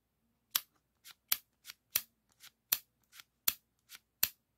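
Fingertips slide the shutter and scratch and rub the hard plastic surface and label of a yellow 3.5-inch floppy disk with a metal hub, held in the hands. Six sharp, bright plastic clicks alternate with five softer, duller ones in a loose rhythm, each snapping off almost instantly. Between them there is near silence.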